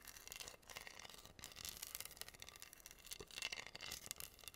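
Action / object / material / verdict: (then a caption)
scrape / wooden heart board covered in acrylic rhinestones / acrylic / none. Fingertips and nails rub and scratch across a flat, solid wooden heart board covered in pink acrylic rhinestones. The result is a quiet, continuous, bright scratchy texture with dense, crisp clicking bursts and almost no low end.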